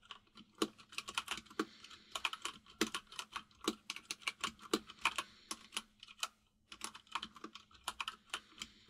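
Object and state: Plastic mechanical keyboard.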